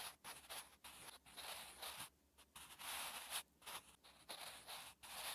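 A wooden graphite pencil held in the fingers writes Korean handwriting on a lined paper notebook page, scratching steadily across the paper surface. The strokes come as soft, bright, hissy bursts separated by brief quiet pauses.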